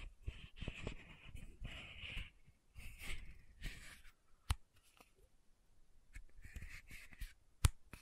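Long nails tap and scratch the top of the metallic cap on a small pink plastic sunscreen bottle held upright. Soft, raspy scratching bursts with a hissy midrange sit over low, dull thuds, broken by a couple of sharp, bright clicks where the nails strike the cap.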